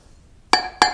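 A Portland limestone block is tapped twice, each tap giving a bright, glassy clink that rings briefly around 840 Hz. The block is judged not sound because of a shake (a crack) running along it.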